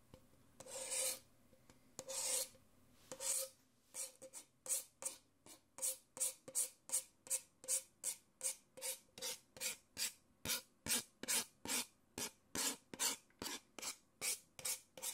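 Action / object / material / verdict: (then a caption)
scrape / paper cup / paper / none. A thin stirrer scrapes inside the open end of an empty, hollow, thin-walled white paper coffee cup, then fingernails scratch its outside wall. A few slower, longer strokes give way to a rapid, steady run of short, dry, bright rasping scratches, each cutting off quickly with almost no ring.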